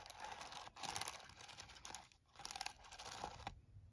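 A hand taps and presses the keys of a plastic TI-34 scientific calculator lying on a towel, using fingertips and nails. The result is a dense run of quick, dry, bright clicks and taps with no ring, which briefly pauses in the middle before continuing.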